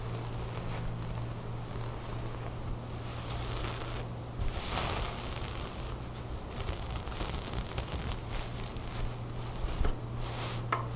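Long nails scratch across the ribbed knit of a beige drawstring top lying on a table, and fingers rub the folded fabric. A soft, continuous scratchy rustle runs over a steady low hum, with a few brighter scraping bursts along the way.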